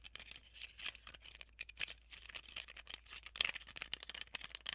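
Long nails tap and scratch on a small, handheld, transparent plastic tape dispenser holding a white tape roll, hitting both the plastic shell and the roll. The result is a quiet, bright, dense run of crisp clicks and scratchy rasps, with a brief louder flurry near the end and almost no low end.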